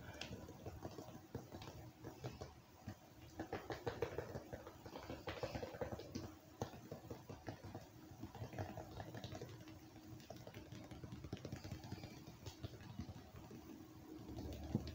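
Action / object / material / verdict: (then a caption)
tap / plastic ice cream tub / plastic / none. A round, medium-sized, hollow red-and-white plastic cookie-dough ice cream tub with its lid on is held overhead and tapped on the side with fingertips and nails. Quiet, rapid, dull plastic taps and clicks patter continuously for the whole clip, each dying away almost instantly with a low, hollow body.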